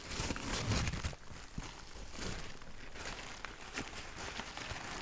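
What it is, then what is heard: Crumpled packing paper. A large sheet of grey packing paper, crumpled into a loose ball, is squeezed and crumpled in both hands. Dense crinkling and rustling is loudest in the first second, then settles into softer, scattered crackles.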